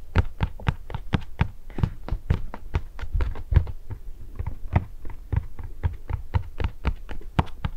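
A small, hollow red printed cardboard box of Anna's pepparkakor gingersnap cookies, probably full of cookies, is held by hand beside the microphone and tapped with long painted nails. About thirty quick, dry taps come in an irregular rhythm, each a short low, hollow thump with a faint bright click from the nail and almost no ring.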